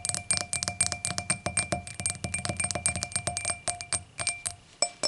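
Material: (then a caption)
Glass. A clear, empty, hollow stemmed hurricane glass lying on a towel is tapped on the stem with long acrylic nails, then tapped and scratched on its round glass foot. A rapid stream of short, bright glassy clicks rings with high pinging tones and a faint lower hum, each tap decaying almost at once.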